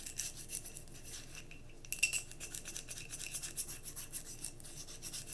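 Long nails tap and scratch on a glass mason jar candle filled with solid wax, held tilted. Quick, bright tapping and raspy scratching repeat throughout, with a sharper click near the middle and a faint glassy ring around 2.7 kHz.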